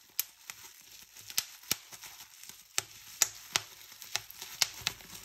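Fingertips with painted nails pinch and pop bubbles on a clear plastic bubble wrap sheet. Sharp, bright, irregularly spaced pops cut through a soft, crinkly plastic rustle, each snapping off almost instantly with very little low end.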